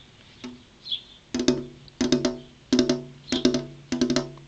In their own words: Tapping on a glass window (ASMR)